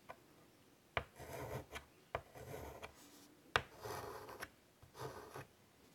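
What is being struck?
Chalk on a wood-framed chalkboard.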